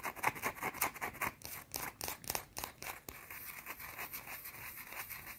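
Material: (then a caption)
Soap. Long teal-painted nails scratch fast across a small, round, solid white bar of soap held in both hands. The sound is a quick run of dry, bright rasping strokes with little low end. The first half has sharp, separate bursts, and the second half turns into a steadier, quieter scratching.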